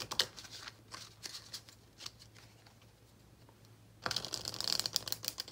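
A small, solid deck of paper playing cards, held in both hands over a dark cloth, is split and riffle-shuffled with the fingertips. Soft, scattered bright taps and ticks come first, then at about four seconds a dense, crisp flutter of rapid high card snaps runs to the end. The sound is dry and quick, with almost no low end.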